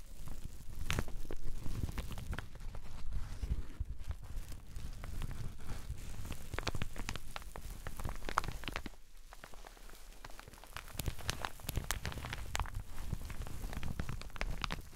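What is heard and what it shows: A teal satin shower cap, soft and empty, is squeezed and rubbed in the hands with fingertips and nails. The result is a continuous soft crinkling and rustling with dense low rumble and scattered sharp, bright ticks. It eases briefly near the middle before building again.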